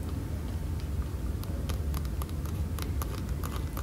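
Long painted nails and fingertips tap and scratch a hollow blue molded plastic child bicycle seat on a store rack. Quick, light clicks and scrapes sound over a steady low rumble.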